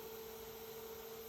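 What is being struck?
Nothing is struck.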